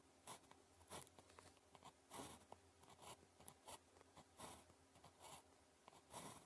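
The metal tip of a blue plastic ballpoint pen scratches strokes across a thin sheet of red-grid calligraphy paper lying flat while writing characters. Short, dry, bright scratching bursts come in an irregular run of quick strokes over a quiet low hum.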